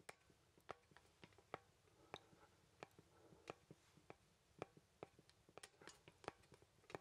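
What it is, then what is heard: Wooden artist mannequin, joints clicking. A small, solid-wood artist mannequin with jointed limbs is handled with the fingertips as its joints are moved. About eighteen quiet, dry clicks and ticks sound at irregular intervals, each stopping almost instantly, with bright, woody tones over a soft, hushed background.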